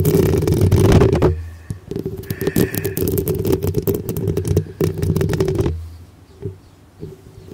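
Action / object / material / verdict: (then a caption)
scrape / metal mesh microphone grille / metal mesh / none. Long pink acrylic nails on both hands scratch directly across the hollow black metal mesh grille of a medium-sized cylindrical microphone with a rhinestone-decorated body. Dense, rapid, uneven scraping crackles with a heavy low rumble, loudest in the first second and continuing steadily to about 5.7 seconds. It then drops to near quiet with only a few faint scratches.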